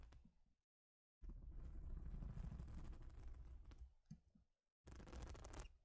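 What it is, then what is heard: Plastic studded baseplate. A large, flat plastic Lego-style baseplate with studs, a solid thin sheet, is scratched and tapped with long nails. A low, rumbling scratching runs in bursts separated by brief silences, followed by a few soft taps.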